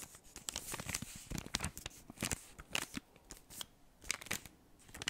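A large, flat, solid chocolate bar in crinkly gold foil, still unopened, is held in both hands near the mic and tapped and scratched with fingertips and short nails. Quick, crisp taps and scratchy, bright foil crinkles come in irregular bursts, each dying away almost instantly, with quieter rustling in between.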